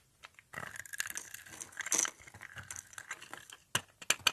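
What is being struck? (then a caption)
Bar of soap cut with a small blade. A small red-handled cutter blade scrapes and cuts a hand-held, dry, solid, palm-sized purple soap bar pre-scored in a grid, crumbling off small soap cubes. The sound is a dense run of bright, crisp crunching and crackling with almost no low end, ending in a few sharper, louder snaps.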